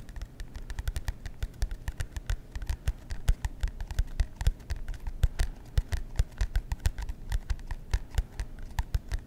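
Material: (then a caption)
Cardboard. Fingernails tap and scratch the cardboard cover of a marbled composition notebook held upright by the mic. A steady run of quick, dull, low-pitched taps with faint bright ticks on top, each dying away almost at once, over a soft scratchy rustle.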